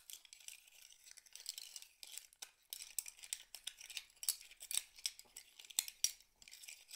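A handful of small, hollow, empty mussel shell halves is held in cupped hands and shaken and rubbed together over a pile of the same shells. The result is a quiet, bright, dense rattle of scratchy clicks and sharp little clinks with no low end, broken by brief pauses and a few louder snaps.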